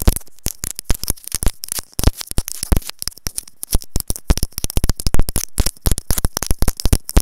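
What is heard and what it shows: A small white hollow plastic earphone inline mic capsule on its cable is tapped rapidly with long nails. The result is a dense, irregular stream of quick taps, each a deep, boomy low thump with a faint bright click on top. Every tap dies away almost at once, leaving short gaps of quiet hiss between them.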